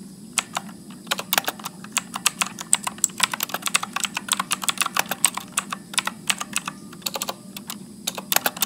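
Fingertips type continuously at medium speed on a backlit Motospeed mechanical keyboard with blue clicky switches and plastic keycaps. About 46 sharp, bright clicks snap out with almost no ring, over a faint steady low hum.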